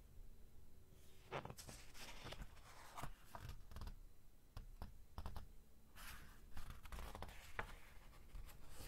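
Fingertips lift and turn a page of an open, glossy thick-paper magazine, then rub and flatten the new spread. Crisp papery rustles and sharp flicks sweep up into bright, hissy highs, over a faint low rumble. The quiet crinkling and smoothing runs on throughout.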